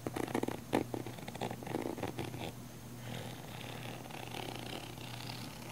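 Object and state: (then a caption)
Nylon fabric camera case. Long nails scratch the textured sides of a small, hollow, black padded nylon fabric camera case. The first half brings loud, rough rasping bursts over a steady low hum, which then settle into a softer, continuous scratchy hiss with a brighter edge.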